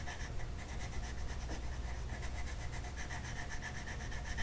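A blue-purple colored pencil shades a flat paper mandala coloring sheet lying on a table with quick back-and-forth rubbing strokes. The result is a steady, quiet scratchy rasp that pulses with each stroke, with a low rumbling body and faint bright scratchy edges.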